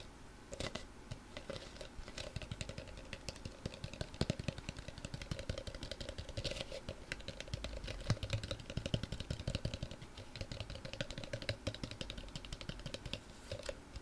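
Long nails rapidly tap a small, hollow, empty pink embossed vase or planter with a scalloped rim, most likely ceramic, held close to the mic. The result is a fast, continuous patter of short, dry clicks that die away almost at once. A faint ringing tone sits underneath.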